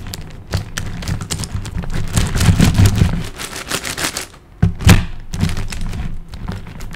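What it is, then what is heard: Plastic puzzle cube. Fingertips tap rapidly on the top and side faces of a large plastic high-order puzzle cube with small colored tiles. The result is a dense stream of short, dry clicks with a low, thumpy body. The tapping dips briefly around the middle before one louder tap, then continues steadily.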